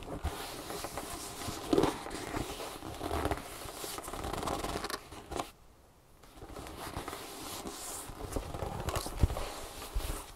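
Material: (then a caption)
Leather. Long painted nails tap and scratch the leather side panel of a large, hollow tan leather tote bag standing upright on a table, near its stitched bottom seam. The result is a steady, dense rasp of scratching with quick taps mixed in and a few sharper knocks. The sound drops to a near-silent pause for about half a second just past the midpoint before resuming.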